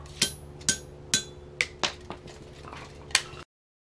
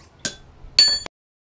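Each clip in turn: First: steel ball dropped on a wrought iron anvil for a rebound test. Second: anvil rebound test with chains tightened.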